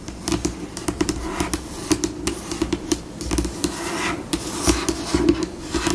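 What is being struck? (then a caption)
Laminate tabletop. Long pink acrylic nails slowly tap and scratch a solid, flat white glossy laminate tabletop. A steady series of sharp, dry clicks with a faint mid-pitched ring is heard over soft, bright scratchy rasps. Each tap dies away almost instantly.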